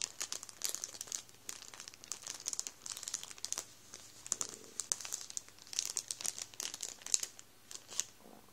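A hand grips and rubs a full Warburtons plastic bread roll bag, crinkling the plastic. Dense, bright crackles and rustles come in quick irregular bursts throughout, with sharp snaps standing out over a faint low hum.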